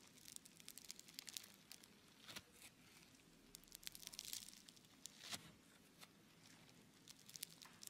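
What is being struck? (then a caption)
Lump of bead-filled foam clay. A palm-sized, solid lump of blue bead-filled foam clay (Floam) is squeezed and kneaded by fingers, producing a quiet, continuous crackling. Dense, bright little pops and crinkles with almost no low end rise into a few louder bursts around the middle before settling back to a soft crackle.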